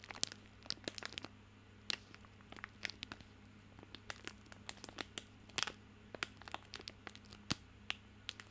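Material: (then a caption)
Plastic film. A small bar of soap in a crinkly plastic film wrapper is held in both hands while fingertips scratch and crinkle the wrapper. Quick, sharp, bright crackles and crinkles come in irregular bursts over a steady low hum.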